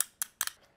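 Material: Carbon fiber composite.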